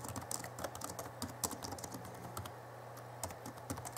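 Both hands type with their fingertips on the backlit chiclet keyboard of an Alienware M11x laptop, tapping rapidly on its plastic keys. The quick, short clicks carry bright, high crackle over a steady low hum.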